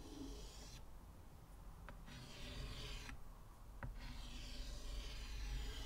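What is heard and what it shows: Fingers hold a short white chalk stick and scratch and draw lines across a flat, solid, square black chalkboard in a wooden frame, also rubbing the surface. Bright, raspy chalk scraping comes in steady strokes, broken by two brief pauses that each end with a light tap, over a low rumbling background.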